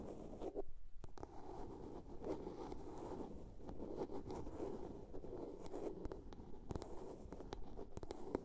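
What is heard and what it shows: A small, hollow blue plastic soap case is tapped and scratched with long nails. The result is a quiet, steady stream of dry scratching and rubbing, with light taps that give a hollow, low-mid tone. The taps are short and die away almost at once.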